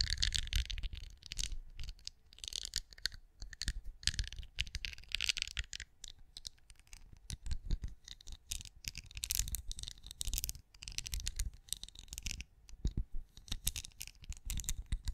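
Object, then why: Wax pinecone-shaped candle. Long acrylic nails scratch and tap the bumpy scales of a hand-sized, cream, pinecone-shaped wax candle that appears solid, held close. The sound is a dense, continuous run of quick clicky taps and rough scratches, with bright crisp detail over soft low thumps and no ring after each contact.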